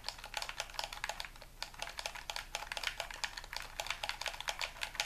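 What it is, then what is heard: Plastic game controller buttons. Fingertips and thumbs rapidly press and click the buttons and triggers of a hollow, white plastic handheld game controller held in both hands over a wooden table. A quick run of about 34 short, dry, bright clicks with almost no ring sounds much like typing on a keyboard.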